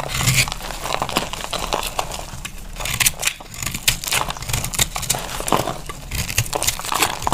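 A dry, pressed green-orange multicolor soap bar held in the hand is cut with a utility knife blade, giving a steady run of crisp, crumbly crackles and scraping crunches. The sound is bright and gritty, with a low undertone beneath the quick, dry snaps.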